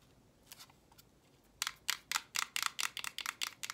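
Long painted nails tap and scratch the face and edge of a small roll of invisible clear plastic tape with a green striped core, held close up. A few faint ticks give way to a quick, uneven run of crisp, bright clicks and scratches with almost no ring or low end.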